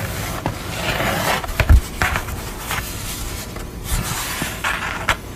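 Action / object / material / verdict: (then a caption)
scrape / painted art board / painted board / none. Long nails tap and scratch across the surface of a grey painted board portrait lying flat on a towel, with fingertips resting at its edges. Soft, dry scratching runs throughout, broken by a few irregular, short, dull taps with low thuds and bright scratchy hiss.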